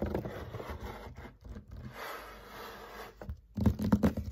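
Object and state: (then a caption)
Dry-erase whiteboard panel. Fingertips and nails of both hands tap and scratch across a flat, thin, solid dry-erase whiteboard panel with a marker drawing on it, lying on a table. Dry, irregular scratching and soft low taps give way to a quieter, steadier scrape in the middle, then a burst of louder, rapid tapping and scratching at the end.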